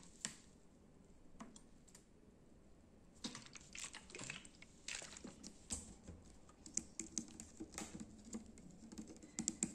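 A small PET plastic bottle of SanAttiva Zero drink with an orange cap and label, full of dark liquid, is held in one hand while fingertips and nails tap it. The taps are quick, irregular clicks that are sharp, bright and dry, dying away almost instantly, with a few louder flicks near the end.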